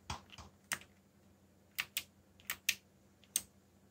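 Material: Plastic.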